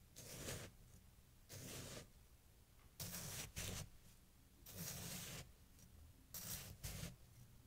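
A kitchen knife slices and scrapes down through a solid mound of packed snow resting on a towel. Seven crunchy, crisp cutting strokes are heard, each a short bright burst with a soft low body, separated by quiet pauses.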